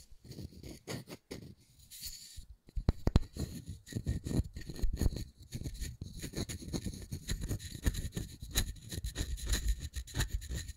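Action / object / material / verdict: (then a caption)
scrape / small round wooden disc / wood / none. Fingernails scratch back and forth across the grain of a palm-sized, solid, round wooden disc with a center hole, held up close. The result is a dense run of short, dry scratching strokes with a soft low rumble underneath and a faint bright hiss on top. The strokes stay fairly even in loudness, with brief pauses early on.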